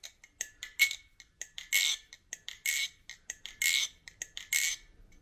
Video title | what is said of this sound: Another community designed banger! - Nabalis Reverie Unboxing and First Impressions | very slight ring to it but like a very deep ring